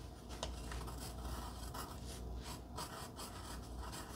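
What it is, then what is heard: Pencil scratching on cardstock. A wooden pencil tip scratches across a flat pink cardstock heart as it writes, while a long-nailed finger holds the heart down on dark fabric. The sound is a quiet, continuous dry scratching and rasping, with bright streaks from each stroke over a low, steady rumble.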